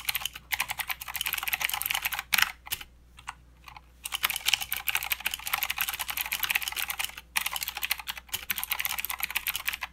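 Both hands type continuously with their fingertips on a full-size mechanical keyboard with blue clicky switches and white, grey, black and green plastic keycaps. A dense stream of sharp, bright clicks centred near 3 kHz fills the clip, with little low end. Short pauses break the typing around the third second and near the seventh.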